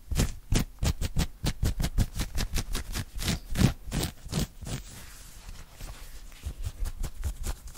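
Fingertips and short nails rapidly scratch and grab an open-weave knit cotton polo shirt across the chest and collar area. The result is a fast, uneven series of short, dry scratching bursts with a heavy low thump beneath each stroke. Around the midpoint the strokes soften into a quieter, continuous rustle before sharper scratches return at the end.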